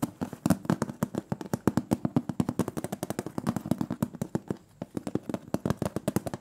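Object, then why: Thin sheet-metal cookie tin lid. Fingernails rapidly tap the printed metal lid of a large, round, closed metal butter cookie tin, producing about 48 dense, sharp clicks with a faint low hum around 215 Hz beneath them. The tapping runs steadily, pauses briefly just before the five-second mark, then resumes in quick bursts.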